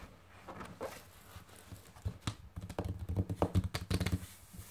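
Long painted nails and fingertips tap rapidly, like typing, on a large, solid, closed hardcover book with a glossy printed cover lying flat on a table. The result is an irregular run of short, dull, low thuds with faint clicky edges, building from soft taps to a denser, louder patter.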